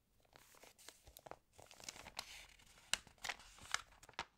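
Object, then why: Glossy paper magazine. Fingertips with long nails tap and rub the pages of an open glossy home magazine resting on a table, then lift and turn a page. Quiet, bright crinkling and papery rustling are broken by about ten crisp, sharp taps with no ring.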